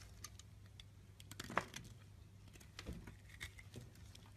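A small solid white soap bar held in the hand is carved and scraped with a pink-handled box-cutter blade, and shavings fall off. Quiet, crisp scraping ticks and soft cutting scratches come in scattered bursts, with a bright edge, over a steady low hum. One sharper scrape stands out near the middle.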